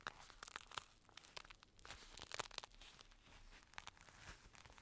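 Fingertips tap and scratch the outer shell of a black, padded synthetic leather boxing glove, hollow inside, held close to the mic. The result is a quiet, uneven run of sharp, dry clicks and crinkly, tearing scrapes that are bright and die away instantly, with little low end.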